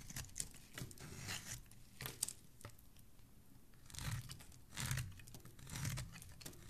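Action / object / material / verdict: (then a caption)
scrape / bar of soap shaved with a blade / soap / none. A metal blade with a black handle shaves thin strips off one end of a white solid bar of soap held in the hand. Each irregular stroke is a crisp, dry scraping and crinkling sound with bright, high hiss, separated by brief quiet gaps.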